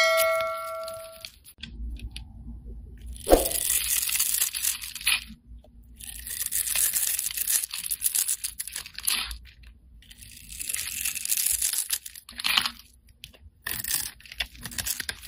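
A short bright chime rings at the start. Then a utility-knife blade scrapes and cuts a solid cream soap bar with gold glitter, held in the hand, into small cubes. The cutting makes crisp, bright crunching and tearing scrapes in uneven bursts with brief pauses.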